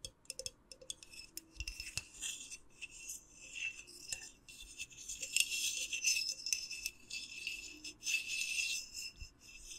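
Long nails scratch and rub the white lid and glass side of a small hollow clear glass jar with a lit candle inside. The sound is a quiet, bright, irregular scratching and rasping with a faint glassy ring near 2.8 kHz and almost no low end.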